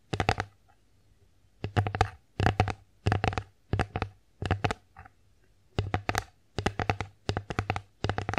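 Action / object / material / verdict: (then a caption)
tap / wooden plate / wood / none. Long acrylic nails tap the front surface of an empty wooden bear-face plate held in the hands. Quick bursts of crisp, clicky taps come in short rolls separated by brief pauses, each tap carrying a dull, low woody body and dying away almost instantly.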